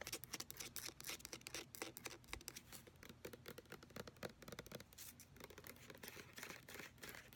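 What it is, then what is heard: Plastic lotion pump bottle. Fingertips and long nails tap and scratch the brown plastic pump head and body of a large white plastic hand-lotion bottle with a paper label, which appears full. The result is a quiet, fast, uneven stream of crisp, bright clicks and scratchy rasps with little low end and almost no ring after each hit.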